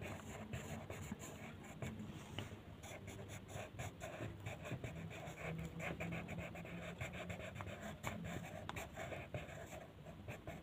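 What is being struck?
Colored pencil rubbing on a paper sheet.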